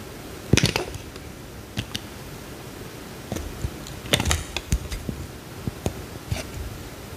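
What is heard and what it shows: A metal utility knife blade carves a small, solid peach-orange bar of soap held in the hand, shaving off curls. About a dozen short, crisp, bright clicks and scrapes sound at uneven intervals, each dying away almost instantly, over a low, quiet background.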